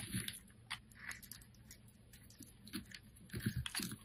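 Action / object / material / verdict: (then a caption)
scrape / solid soap bar scraped with a metal blade / soap / none. A metal blade scrapes along a hand-held solid green soap bar, shaving off strips. Quiet, crisp crunching strokes come in uneven bursts, each with a soft low thud and a bright, papery rasp. Brief pauses fall between the strokes.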